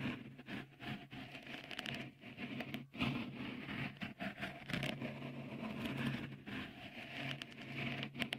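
Fingertips tap and scratch a small, hollow, white dimpled cover, likely silicone, fitted over the right microphone capsule of a Tascam recorder. The result is a close, continuous patter of soft, crackly taps and scrapes with quick, dry bursts and no ring, over a steady low hum.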